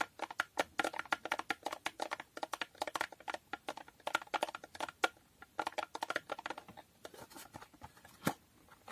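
Long nails tap a small, hollow cardboard condom box with a holographic foil finish on its front, side and top. The result is a rapid, uneven run of dozens of crisp, dry clicks with a papery midrange around 1.4 kHz and a bright edge. Each tap dies almost instantly with no low end, ending on a few sparser, louder taps.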